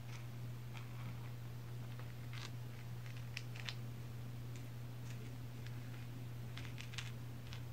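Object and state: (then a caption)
Lump of coal. Long pink acrylic nail tips tap and scratch the surface of a fist-sized, solid, shiny black lump of coal resting on a woven placemat. Faint, bright clicks and short scratchy rasps come at irregular intervals over a steady low hum that dominates the clip.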